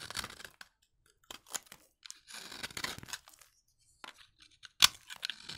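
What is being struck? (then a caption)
Bar soap shaved with a knife blade. A utility knife blade scrapes across the flat face of a solid, dry, orange vintage soap bar, shaving off thin crunchy curls. The strokes come as short, dry, bright crunching and tearing scrapes separated by brief silences, with almost no low end. The sharpest and loudest crack comes near the end.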